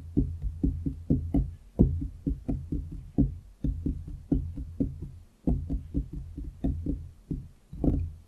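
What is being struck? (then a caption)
Wooden desktop. Fingertips from both hands tap and drum on a large, solid pine-look wooden desktop with visible grain, on either side of a foam-covered microphone. About 27 dull, low, woody knocks come in an uneven rhythm, each one short and quickly damped with almost no bright ring.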